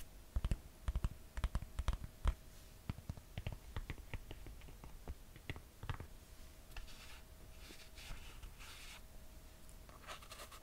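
Long painted nails scratch and rub a red suede slide sandal with gold metal buckles and a perforated cork and suede footbed. Sharp, dry scratchy taps come quickly at first, then give way to softer, continuous rubbing and brushing with a faint steady hum underneath.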